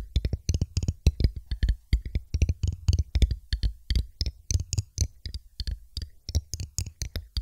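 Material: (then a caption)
Glass. A thin, empty, hollow clear glass test tube, held upright on top of a microphone, is tapped rapidly with long pointed acrylic nails. Each tap gives a dull, deep thump from the microphone with bright, clicky ticks above it, and each one dies away almost instantly. The taps come in quick, uneven bursts, possibly with an echo or swirling effect added.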